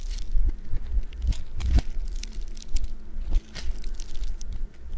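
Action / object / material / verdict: scrape / foam bead clay lump / foam beads / none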